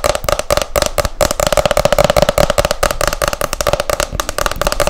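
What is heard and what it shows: Long nails rapidly tap and scratch the glossy printed cover of a hardcover book, making a dense run of quick, dry clicks with short scraping strokes between them. The taps stop almost instantly, and a steady mid-pitched hum sits underneath the whole run.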